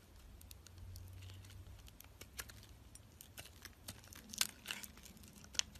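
A utility knife blade shaves thin curls off a solid white bar of soap held in the hand. Soft, bright, crisp scraping and crinkling comes in irregular short strokes over a faint low hum, with a few sharper cuts standing out near the end.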